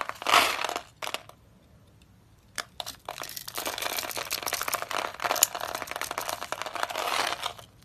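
A utility knife blade slices crunchy cubes off a solid, dry, oval pale soap bar with a lilac interior that has been scored in a grid. Short bursts of dry, bright crunching and crackling come first, separated by a quiet pause. They then give way to a sustained run of crisp crumbling crackles that carries through to the end.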